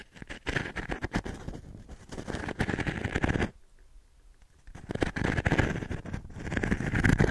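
An octagonal pine frame with a fine metal mesh insert is held in one hand while the fingertips of the other hand scratch and rub the mesh in circles. The result is a dense, rapid, crackly scratching with a heavy low end. It goes quiet for about a second in the middle, then resumes and grows louder toward the end.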